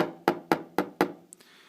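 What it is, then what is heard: Waterproof action camera case (tapped). Five sharp, woody taps, then a faint high click, are heard on a JooVuu waterproof case, made of plastic with an aluminium end, holding a Mobius action camera that is recording inside it. Each tap is a short, hollow knock that dies away quickly.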